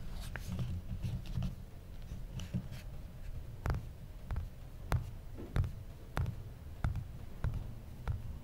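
An original iPhone, a small solid phone held in one hand, has its glass screen and metal bezel tapped and rubbed with fingertips and nails. Sharp, dry clicks with no ring land at uneven intervals over a soft, low-heavy scratching and rubbing bed, each tap cutting off almost instantly.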